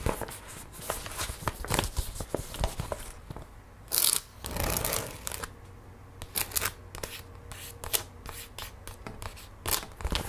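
Long red-painted nails tap, trace and scratch across a flat, empty printed paper gift bag with a snowman design, held on a wooden table. Quick, crisp paper taps mix with bright, papery scratching and rustling, with a louder, fuller crinkling burst around the four-second mark.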